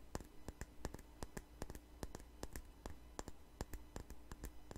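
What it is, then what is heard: Glass perfume bottle. A small glass perfume bottle with a flower-shaped cap, held sideways, is tapped with long nails. The taps come as a quick, uneven run of short, dry, bright clicks that die away almost at once. A steady low hum sits underneath.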